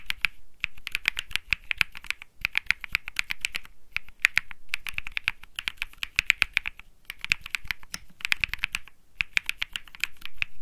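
Fingertips type continuously on a cream Think6.5 mechanical keyboard with Bsun Lollipop switches and plastic keycaps. The result is bursts of crisp, bright, clacky key presses centred near 2.3 kHz, each dying away almost instantly. The bursts are separated by brief pauses.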